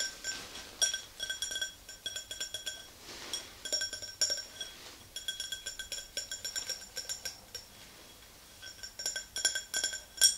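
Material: Glass.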